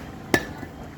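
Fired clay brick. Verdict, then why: Sound. A fired clay brick is dropped onto the ground from about shoulder height as a field test, landing with a single sharp, hard knock that dies away almost at once. The brick does not break, marking it as first-class, and bricks like it are chosen for the work.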